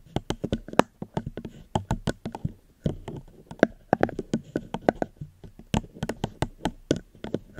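A plastic cup is gently tapped close to the microphone, giving a quick, uneven run of about thirty short, dry taps. Each tap has a soft, hollow low-mid body with a faint bright click and almost no ring after it.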